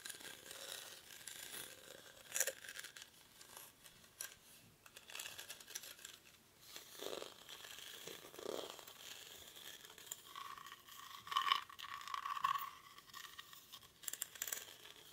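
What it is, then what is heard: Woven rattan basket. Short fingernails scratch the weave of a hollow, cylindrical woven rattan/reed basket held in both hands. The sound is a dry, bright, crackling scratch with no low end, broken by sharp clicks and louder scrapes. Toward the end a faint, thin tone near 1 kHz rises above the rustle.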